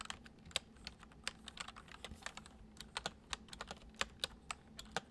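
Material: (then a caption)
Plastic. Fingertips of both hands type fast, repeated taps on a full-size white plastic computer keyboard with hollow keys resting on a wooden desk. Each keystroke is a short, bright, hollow click that dies away almost instantly, in an uneven stream of lighter and sharper taps. A faint low hum sits underneath.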